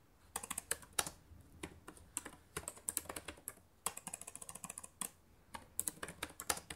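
Long painted nails type and tap on the plastic keys of a black laptop keyboard. Bright, sharp clicks come in quick irregular bursts, with a fast rattling run of taps in the middle and brief quiet gaps between flurries.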